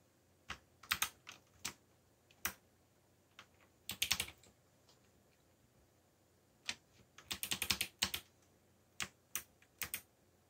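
Fingertips type on a backlit mechanical computer keyboard with black plastic keycaps. Sharp, bright clicks come in irregular bursts and quick runs separated by short pauses, each tap dying away almost instantly over a quiet background.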